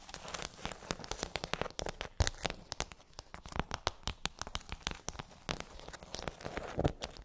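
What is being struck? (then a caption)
Rigid plastic tray with hollow domes. Long acrylic nails tap and scratch across a pink rigid plastic tray covered in rows of hollow half-sphere domes. The result is a fast, uneven stream of sharp, dry clicks that stop almost instantly, layered over a bright, crinkly scratching rustle. A faint low hollow body runs underneath.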